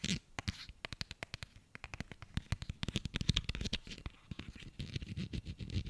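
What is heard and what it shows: A small pink soft plastic hand cream tube is held in the hands and tapped and scratched with fingernails. The result is a rapid, uneven series of short, dry clicks and scratchy taps, each with a low thump and a bright edge, dying away almost instantly.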